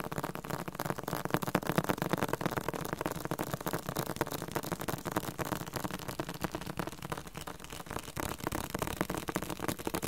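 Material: Cardboard.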